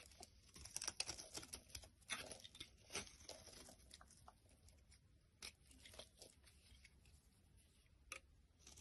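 A solid rectangular pink soap bar held in the hand is scraped with a small black blade, shaving off curls. The clip is quiet, dry and bright, with a run of crisp scraping and crackling strokes. The louder strokes fall in the first three seconds and near the end, with softer scratching between.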